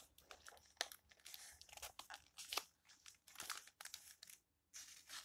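An open old book with yellowed paper pages is handled as fingertips rub across the pages and flip them over. Soft, dry crinkling and rustling come in irregular bursts, with brighter crisp snaps as each page turns and a short silence near the end. The sound is quiet and mostly high in tone, with almost no low end.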